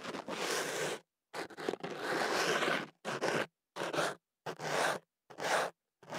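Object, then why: Kenaf paper tube scraped with a thin pick. A thin white ear pick is inserted into the open end of a hollow tube of white kenaf paper rolled around a small microphone and held in one hand, then scratched against the paper inside. The result is close, dry scraping and rustling in irregular bursts of varying length, separated by short silences.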